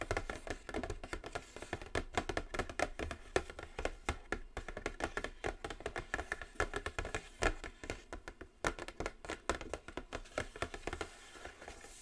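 Long nails scratch and tap continuously on the top of a large, flat, black glossy Morphe cardboard eyeshadow palette box. The result is a dense stream of short, dry taps and scratches with almost no ring.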